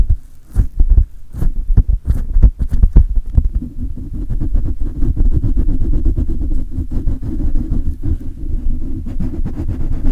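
Fingertips scratch and rub the hollow metal mesh grille of a silver condenser microphone while hands grip it. Sharp, deep thumps and knocks come first, then give way to a steady, dense low rumble of rubbing and handling noise with almost no high end.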